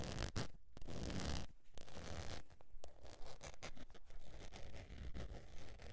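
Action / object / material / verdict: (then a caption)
scrape / faux leather wallet / faux leather / none. Long nails scratch the surface of a beige textured faux leather zip wallet, first while it is held and then while it lies flat. The result is dry, raspy scratching that comes in uneven bursts and strokes, with broadband hiss and a heavy low rumble. Short, sharp ticks cut through between the strokes.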